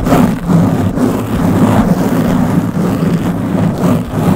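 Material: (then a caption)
Foam. Long blue-painted nails on both hands scratch a round black foam windscreen covering the head of a Blue Yeti microphone. The result is a continuous, dense, loud rumbling scrape, heavy in the low end with a steady hum-like tone, swelling and dipping slightly without a pause.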